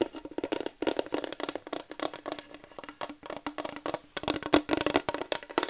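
A flat wooden plaque sign is scratched and tapped with long nails, producing a rapid run of dry, crackling clicks and brief scrapes. The bursts are bright and short with almost no low end, and a faint steady tone near 300 Hz hums underneath.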